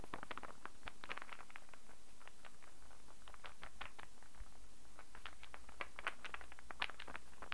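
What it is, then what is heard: Wooden star burr puzzle. A hand-sized solid wooden star burr puzzle is cupped in both hands while fingertips tap and manipulate its pieces. Quick, light, dry wooden taps and clicks patter in irregular bursts, bright and short, over a faint steady low hum.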